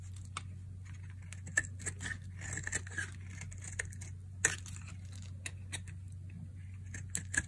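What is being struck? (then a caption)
Bar of soap cut with a blade. A metal utility blade slices and scrapes chunks from the edge of a dry, palm-sized, light-blue oval bar of soap held in one hand. Irregular crisp, crunchy scrapes and sharp bright snaps stand out over a steady low hum, with the loudest cuts near the middle and end.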